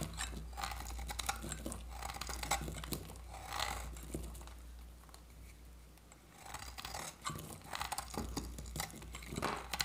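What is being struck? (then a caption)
Bar of soap scraped with a knife blade. A metal utility-knife blade scrapes across a hand-sized, solid oval bar of dry orange soap with a red varnished skin, held in one hand, shaving off curled flakes. Dry, crackly scraping bursts come in quick strokes over a steady low hum, easing into a quieter stretch midway before the brittle shaving picks up again.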